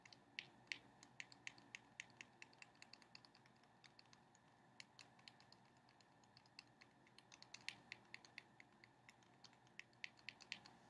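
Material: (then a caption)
Cardboard. A small sealed cardboard playing card box held in the hands is tapped and scratched with long painted nails. Quiet, crisp clicks land at an irregular pace over a soft, steady scratching hiss. Each tap is bright, centered around 2.3 kHz, and dies away almost instantly.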